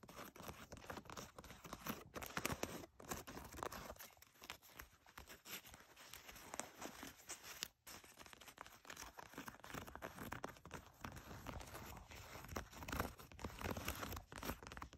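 Fingertips and long nails scratch and pinch the front pocket edge and waistband seam of blue denim jeans lying flat. A steady run of dense, rough scratching and rasping fills the clip, bright and crackly with brief pauses.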